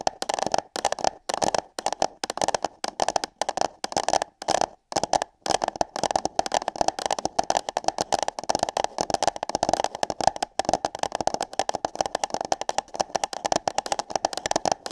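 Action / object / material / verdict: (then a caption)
scrape / paper cup / paper / none. Long nails tap and scratch on hollow paper cups placed over a microphone's ears. The result is a dense, irregular stream of quick, dry crackling taps with a hollow midrange tone around 800 Hz and bright edges, broken by brief pauses.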